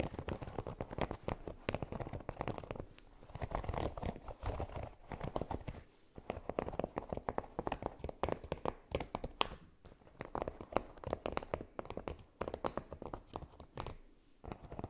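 Long nails scratch and tap across a red silicone baking mat covered in small pyramids, lying flat. A dense stream of short, dry clicks and scratchy rustles with no ring, mostly in the low-mid range, with brief quieter pauses.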